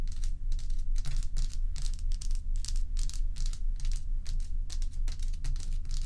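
Long acrylic nails scratch and tap the sides and top of a large, solid, bowl-shaped dome of ice, while loose ice cubes sit untouched at its edge. The result is a rapid, uneven run of bright, crackly scraping and clicking bursts over a steady low hum.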